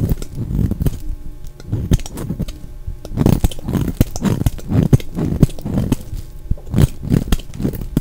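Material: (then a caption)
Soap. A solid, dry oval pink bar of soap held in the hand is shaved with a utility knife blade, curling off shavings. The audio is a steady run of dense, low, crackling scrapes with quick bright ticks between strokes.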